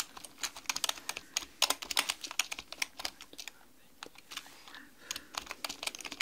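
A black mechanical computer keyboard with plastic keycaps on a desk is typed on rapidly with long painted fingernails and fingertips. The result is a quick, uneven run of bright, sharp clicks and clacks with almost no low end, briefly thinning out to a few scattered taps before speeding up again.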